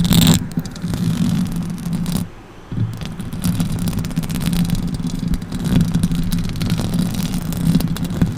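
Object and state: Metal microphone grille being scratched.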